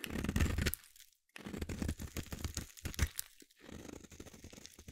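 A metal utility blade shaves a solid green bar of soap in irregular scraping strokes, giving dense, crunchy, crumbly scrapes with low thuds and brief bright edges. The scraping comes in bursts broken by short silent pauses, each stroke dying away almost at once.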